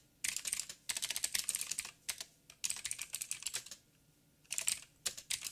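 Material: Plastic.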